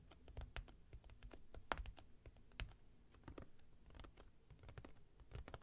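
Long nails tap quickly on the top and sides of an upright, closed cardboard product box while it is held. The result is a run of quick, dry, clicky taps with a soft low thump under each one and almost no ring. Occasional sharper strikes stand out from the steady patter.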